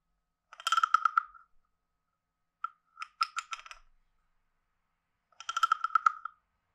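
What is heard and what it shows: A hand-sized hollow carved wooden frog guiro is played by scraping a wooden stick along its ridged back, in three separate passes. Each pass is a quick run of dry, ratcheting clicks with a hollow, croaking tone centred around 1.3 kHz and bright overtones. Short silences fall between the passes.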